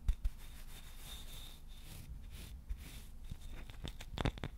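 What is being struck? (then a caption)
Wooden-backed shoe brush. Fingertips tap and scratch a KIWI shoe brush with a solid wooden back and dark bristles, giving soft, low thumps over a continuous dry, scratchy rustle. A few sharper taps stand out near the start and end, with a faint steady high whine in the background.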